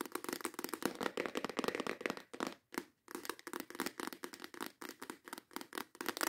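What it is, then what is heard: Clear plastic organizer box. Long acrylic nails tap and scratch quickly on the lid and sides of a clear plastic compartment organizer box holding nail tips. The fast, dense clicks and rasping scrapes are dry and short, centred in the mids with bright edges and almost no low end, with a brief pause near the middle.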